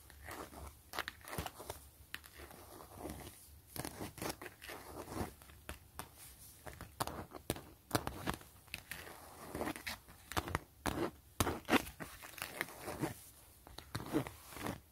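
Long nails tap and scratch across an empty, flat, clear PVC grid mesh zipper pouch. Quick, crisp taps mix with dry, crinkly scratching strokes that stop almost instantly, with a bright, papery edge over a light low thud.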